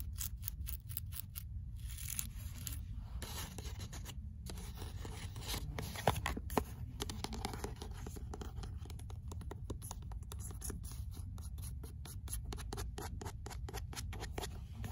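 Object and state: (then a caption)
Paperback book, pages flipped and cover scratched. The pages of an "L'imaginaire" paperback book with a paper cover are flipped, then long nails scratch across its card cover. The result is a steady stream of soft, quick, papery rustles and scratches with a low, dull body and brief crisp ticks on top.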